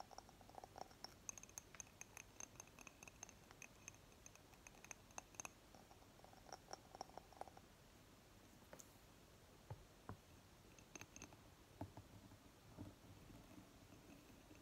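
A small hollow glass jar filled with solid green candle wax is held in the hand while long fingernails tap and scratch its glass sides. Quick, dry clicks and scrapes repeat throughout, with high, bright glassy tones and no lingering ring.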